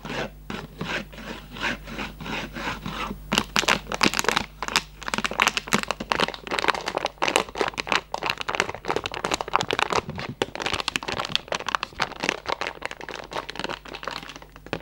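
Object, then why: Cardboard candy box. An opened, empty-looking Raffaello cardboard candy box with flaps is rubbed and bent with fingers. Soft scratchy rubbing in the first few seconds gives way to dense, louder bursts of bright crackling and scraping, with a faint steady low hum underneath.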